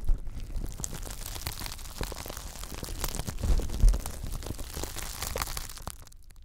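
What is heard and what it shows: Fingertips scratch and rub along the nubbed bristle ridge of a pink, flexible silicone scrubber pad, making a dense run of quick, irregular crinkly, crunchy scrapes with bright crackle over a low rumble. The rubbing swells to its loudest bursts in the middle, then thins out and fades at the end.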